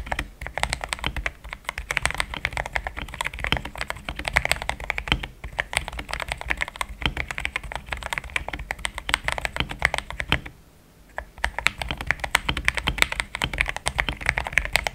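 Fast two-handed fingertip typing on a compact pink-white mechanical keyboard with thick plastic XDA keycaps, a polycarbonate plate and linear switches, resting on a desk mat. Dense, rapid clacky keystrokes with a bright, short attack and almost no ring run continuously, with a brief pause near the 11-second mark.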